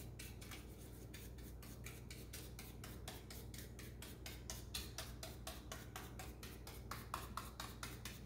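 Rubber-gloved fingertips press and tap the keys of a black plastic laptop keyboard. The result is a quick, uneven run of soft, bright clicks over a steady low hum.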